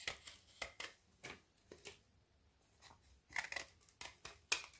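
A small metal knife scrapes shavings off the edge of a frozen-solid Milka milk chocolate bubble bar held in the hand. About twelve short, bright, crisp scraping strokes come in quick bursts with brief pauses between them.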